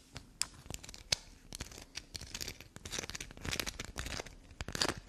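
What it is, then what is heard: Bar of soap scratched with fingernails. A small solid black soap bar held between the fingers is scratched fast and dug into with long black nails. Dry, bright, crackly scratches and gouges come in quick bursts, with sharp clicking taps mixed in and almost no ring.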